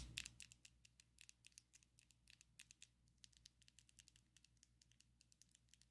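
Long coffin-shaped ombre acrylic fake nails on both hands tap quickly against each other. The result is a rapid, irregular string of light, crisp, high-pitched clicks that die away almost instantly. A faint steady low hum runs underneath.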